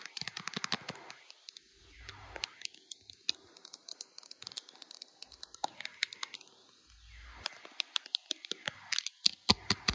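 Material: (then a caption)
Plastic. Long blue acrylic nails tap fast and scratch on the back of a handheld smartphone's clear glitter plastic case with butterfly decorations, near the camera. Sharp, bright plastic clicks come in quick bursts with almost no ring, broken by softer, hissy scratching passages.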